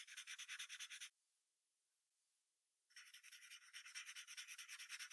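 A yellow wooden pencil draws a fox's legs near the bottom of a white paper sheet resting on a brown hardboard clipboard. Quick, bright graphite strokes scratch and rub in a fast, fairly regular rhythm, stop for about two seconds of near silence, then resume just as briskly.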